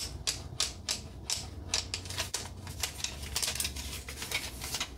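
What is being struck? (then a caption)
Painted wooden peg rack. Long nails rapidly tap and scratch the flat solid slats of a red painted wooden accordion peg rack with knob pegs and a small metal hanger plate. Quick, bright clicks and scratchy rasps come in an irregular stream, each dying away almost at once over a faint low hum.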